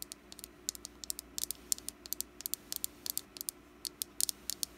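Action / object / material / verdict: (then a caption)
tap / small wax pumpkin candle / wax / none. Long black nails tap on a small, solid orange wax pumpkin candle held in the palm. About 29 quick, bright clicks come in an uneven pattern, each dying away almost at once over a faint, steady low hum.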